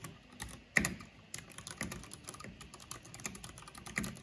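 Both hands with long nails type quickly on a black plastic backlit mechanical computer keyboard with hollow plastic keycaps. It makes a rapid, irregular stream of short, bright, clacky clicks that die away almost instantly, with one sharper, louder strike early on and a slightly heavier tap near the end.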